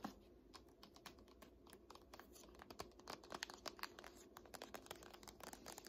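Long nails tap quickly on the laminated spine of a thick "Art History" hardcover textbook standing upright. The result is a fast run of short, dry, bright clicks that sounds much like typing on a keyboard, over a quiet low hum.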